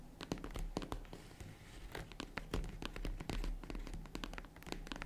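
Long red nails scratch and tap the padded lid of a small, hollow, closed tan faux-leather zippered jewelry case. A rapid, uneven series of soft, dull taps and dry scratching strokes follows, with bright scratchy edges over a muffled low body. Each sound dies away almost at once.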